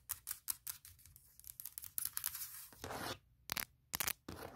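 Long nails tap and scratch the flat aluminum top case of a closed MacBook Pro laptop. Quick, irregular clicks mix with longer bright, hissy scratching strokes, each sound dying away almost at once, with brief silent gaps between bursts.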